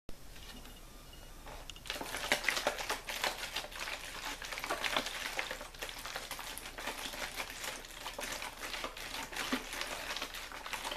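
A clear, mostly empty, hollow plastic water bottle with a label is held in one hand and squeezed and crinkled with the fingers. After a quiet opening stretch, dense bright crackling and crinkling set in around two seconds and continue steadily in irregular bursts to the end.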